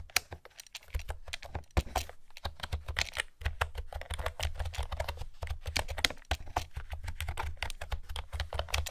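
A blue plastic retro-style keyboard with round pastel keycaps is typed on with long manicured nails and fingertips. A steady run of quick, dry clicks and taps is heard over a low hum. Each click is bright and ends almost instantly.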